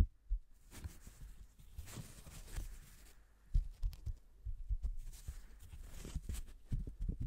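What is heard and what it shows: A single thin yellow paper banknote is stretched, snapped and crinkled by black-gloved hands close to the microphone. Soft papery crinkling is broken by dull, low, short snaps and thumps that die away almost instantly, coming at an uneven pace.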